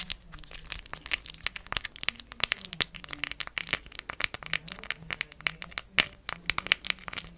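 Long acrylic nails tap and scratch over the large, colorful plastic rhinestone gems glued onto a solid, round, palm-size cork coaster. The result is a rapid, irregular stream of crisp, bright clicks and clacks mixed with dry, crinkly scratching. Each hit dies away almost instantly.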